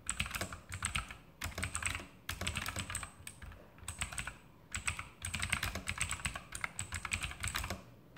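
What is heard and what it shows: Fingertips type quickly with both hands on an E-Element Sharpshooter X2000 backlit mechanical keyboard with plastic keycaps and Outemu blue clicky switches, resting on a desk. Dense bursts of sharp, bright clicks ride over a low plastic thud, with brief pauses between runs. Each keystroke dies away almost instantly.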